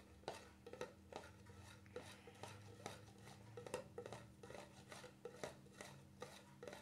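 Fingertips tap on the top of the black plastic lid of a small cream jar with a red and white label. The result is a series of quiet, irregularly spaced, short hollow clicks with a dull tone around 520 Hz, over a steady low hum.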